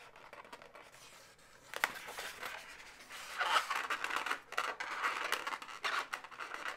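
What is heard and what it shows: A hollow, air-filled pale pink twisted latex balloon animal has long natural nails rubbing and scratching along one of its segments. After a quiet start, a sharp squeaky scrape sets in, followed by repeated bursts of dry scratching and rubbing on the latex, all with no low-end body.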